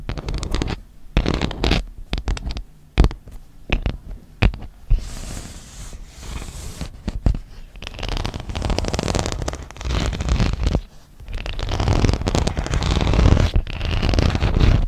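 Long acrylic nails scratch and tap across the honeycomb-textured surface of a flat, hollow-backed plastic iPad case about the size of a tablet. Quick, irregular taps and rasping scratches blend into a dull, bassy rumble that swells louder toward the end.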